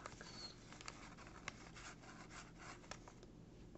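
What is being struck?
Kraft paper bag.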